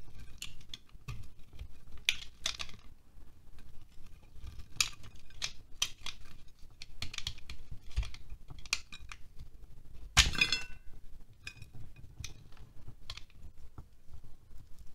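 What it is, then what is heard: Wax candle being scraped. A utility knife blade scrapes a solid green and white wax pillar candle held in the hand, shaving wax flakes onto a glass plate. Short, crisp, bright scraping strokes repeat with brief pauses over a low, quiet background, with one louder, harsher scrape about two-thirds of the way through.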